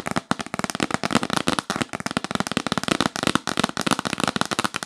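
Long acrylic nails tap fast on a hollow, yellow printed cardboard gift box held upright. The taps are dry, papery and clicky, with a hollow low body and bright crackle. They run in a dense, nearly continuous stream with almost no ring between strikes.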